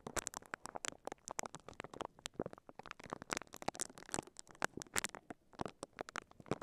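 The bristles of a pink silicone scalp massager, held in both hands, brush and scratch across a microphone covered in clear crinkly plastic wrap. The result is a quiet, rapid stream of sharp, bright crackling and rustling scratches that stop short with almost no ring.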